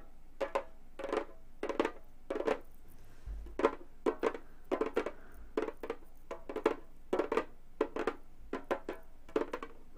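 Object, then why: Frame drum with synthetic head. A hollow frame drum with a synthetic head is tapped rapidly with gold metal claw tips from both hands. It produces quick, dry clusters of taps with a hollow tone around 440 Hz and almost no ring after each hit.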